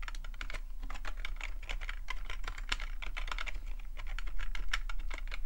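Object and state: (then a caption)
Plastic computer keyboard. Fingertips of the left hand, then both hands, tap the membrane-style keys of a black plastic full-size computer keyboard in fast typing. The result is a rapid, continuous stream of short, dry, bright clicks and taps with no ring, over a steady low hum.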